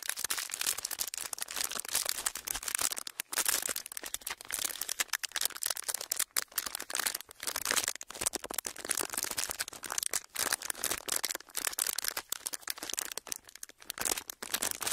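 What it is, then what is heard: Clear plastic wrapper. A flat, folded strip of clear plastic wrapper is pressed and rubbed with fingertips. It makes a continuous, bright, dense crinkling with rapid crackles and no low end.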